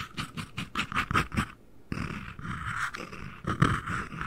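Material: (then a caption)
Cardboard. The lid and base of a small, hollow, empty white cardboard ring box, held above the mic, are tapped with fingertips and nails. A quick run of soft, hollow, papery knocks gives way after a brief pause to a denser, continuous patter with a steady midrange tone and a few louder taps near the end.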